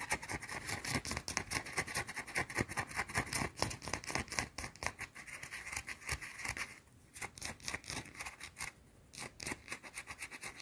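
Long teal-painted nails scratch aggressively at a small, round, solid white bar of soap held in the hands. The result is a fast, irregular stream of dry, bright scraping strokes, with brief quieter gaps around the seven- and nine-second marks.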